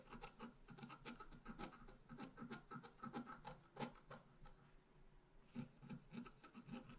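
A pointed wooden stylus scratches along the bottom edge of a thin sheet of black-coated scratch paper lying flat. Quick, uneven rasping strokes follow one another with a papery, bright scrape over a low, soft body. The strokes briefly slow and quiet down before picking up again near the end.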